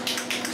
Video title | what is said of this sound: The 1956 Western Auto Wizard Model 6J3605-A Rol Aire Fan - Restoration & Demonstration | when you hear the ball rattle you still have to shake it for like another minute